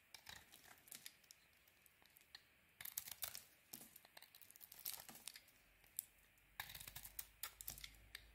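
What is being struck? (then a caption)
Bar of soap cut with a metal blade. A metal blade carves curls and scores cuts into a solid, palm-sized white soap bar with a pink coating, held in the hand. Crisp, bright scraping and crackling comes in short bursts and longer dense stretches, with quiet pauses between the cuts.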